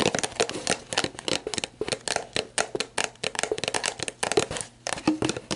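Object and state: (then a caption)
Empty plastic bottle. Long black nails tap and scratch the label and ridged plastic of an empty, clear plastic sports drink bottle lying on its side. The result is a quick, uneven run of short, dry, hollow clicks and crinkly scrapes with a bright, papery edge. Each one stops almost instantly.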